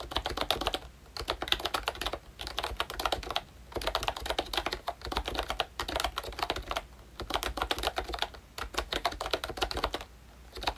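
Fingertips type steadily on a pink plastic ROYCHE Disney Mickey Mouse retro membrane keyboard with round keycaps and a hollow body. Bursts of quick, dry, clicky keystrokes with a bright clatter are separated by short pauses, and each stroke cuts off almost instantly with a faint low hum underneath.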